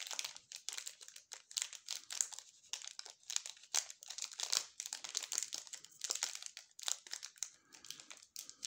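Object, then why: Plastic snack bar wrapper. Gloved fingertips turn over and crinkle the cream-coloured plastic wrapper of a full, sealed waffle bar. The result is dense, bright crackling in quick irregular bursts with almost no low end, each crinkle stopping dead.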